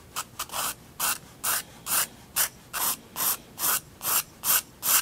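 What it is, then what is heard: Pencil scratching on a paper sketchbook page. A graphite pencil draws lines on a white paper sketchbook sheet, scratching across the page in 13 short, rasping strokes at a steady rhythm over about five seconds. Each stroke is a bright, high hiss with almost no low end, separated by quiet pauses.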